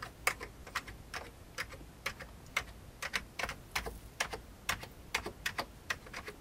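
Fingertips type on an old beige full-size plastic computer keyboard with hollow keycaps, giving 22 light, clicky key taps in an uneven rhythm. Each tap is short and bright with a quick decay, sitting over a faint background hiss.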